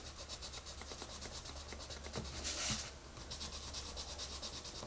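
A hand with long red nails shades a rabbit picture in an open paper coloring book lying flat on a table, using a wooden colored pencil. Quick repeated scratchy, rubbing strokes sound bright and rhythmic over a steady low hum. A louder, brighter swish rises briefly in the middle of the clip.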